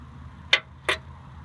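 A small hummingbird trinket found while dumpster diving is tapped twice to check whether it is glass or plastic. The two short, bright ticks die away almost instantly and sound like glass.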